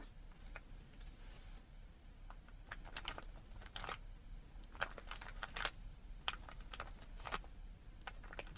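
Long red-painted nails tap and scratch a hand-sized clear plastic bag with a cardboard header, full of small round printed cookies, lying flat on a table. Quick, bright crinkly plastic ticks and scratches come in scattered bursts over a low steady hum.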